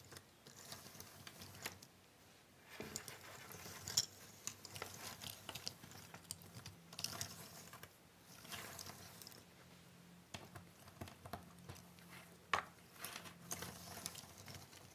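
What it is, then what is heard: Cardboard jigsaw puzzle pieces being shuffled. Flat hands and long nails rub and spread a large pile of small, thin cardboard jigsaw puzzle pieces across a wooden table. The result is a continuous dry, bright shuffling and rustling, dotted with light clicky taps and scrapes that swell and fade as the pieces slide over one another.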